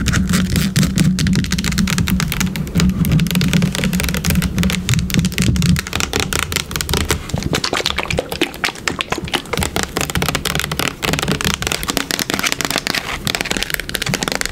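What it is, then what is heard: Plastic bottle. Long pink nails tap rapidly on the body of a yellow plastic bottle of wood polish, held upright and then turned sideways. A dense stream of quick, bright, clicky taps runs throughout. A steady low droning tone underneath cuts out at about six seconds, leaving the tapping lighter and thinner.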